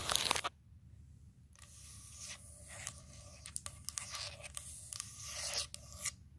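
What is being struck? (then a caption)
Wooden tabletop. Long acrylic nails scratch and tap across the surface of a large, round, solid wooden table slab with visible grain, using both hands. A brief, loud burst of bright scratching drops to near silence, then a dry, hissy rasp builds up, punctuated by short, sharp taps. The sound is mostly high-pitched, with little low end.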